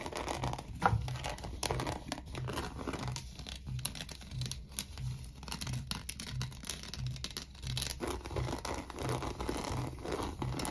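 Fingernails scratch the rough fibres on the inside and base of an empty, hollow coiled woven seagrass rope bowl. Dry, crackly rasping strokes come in irregular bursts over a steady low hum.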